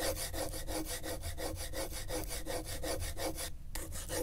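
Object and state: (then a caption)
Corrugated cardboard sheet. A gloved hand traces the tip of a pen in lines across the ridges of a flat piece of brown corrugated cardboard lying on griptape. The result is a steady, rhythmic scratchy rubbing with bright hiss and a low rumble underneath, repeating at about 162 strokes per minute. There is a brief break near the end.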